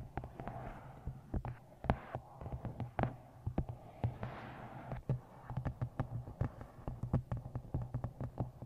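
Long green-painted nails tap the top edge and glossy card cover of a medium paperback novel, 'Twisted Love', with a solid paper block, held upright in front of a microphone. Many quick, dry taps come in uneven bursts, each dying away almost instantly. The sound is weighted toward dull low thuds over a steady low hum, with a soft papery brushing between taps.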